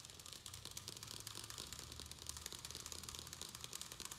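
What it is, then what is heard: Plastic plant pot. A round black plastic plant pot filled with soil and perlite is held in both hands while fingernails rapidly tap and scratch its sides. The result is a quiet, continuous stream of bright, crisp clicks and crinkly scratching, with a faint low hum underneath.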